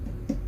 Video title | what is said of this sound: Emenee 1960s Vintage Toy Guitar, Can We Make It Playable? Let's Find Out! | But as best as I can tell from just tapping down the body of the neck, this neck is hollow.